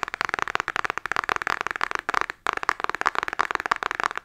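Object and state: Cardboard makeup palette tapped with fingernails.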